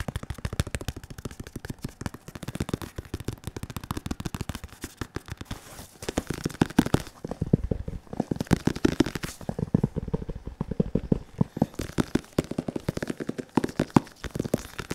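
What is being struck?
Padded synthetic leather focus mitt.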